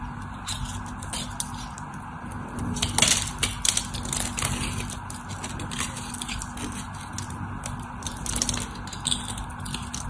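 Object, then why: Solid soap bar. A craft knife blade shaves and scores a white, solid rectangular bar of soap held in the hand, with soap chips falling away. Crisp, bright scraping and crackling cuts sound over a steady low hum, with the loudest bursts of scraping near the three-second mark.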